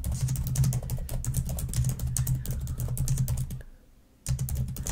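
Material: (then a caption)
Plastic. Long nails type quickly on a black plastic laptop keyboard, producing a dense stream of bright, clicky taps over a steady low hum. The typing breaks off into near silence for about half a second near the end, then resumes at the same fast pace.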